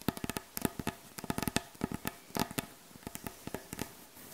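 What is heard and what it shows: Long acrylic nails and the backs of the nails tap quickly on a solid, light wooden butcher block board, making around twenty short, dry clicks in an uneven rhythm. Each tap has a soft woody knock with a bright click on top and dies away almost instantly, over a faint steady hiss.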